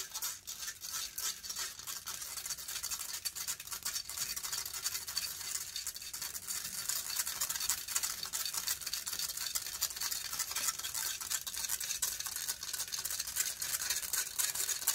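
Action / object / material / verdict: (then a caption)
scrape / metal mesh microphone grille / metal mesh / none. Long fingernails scratch fast across the hollow metal mesh grille of a silver condenser microphone. The result is a dense, continuous, bright rasping hiss with almost no low end, made of rapid overlapping scrapes that grow slightly louder over the clip.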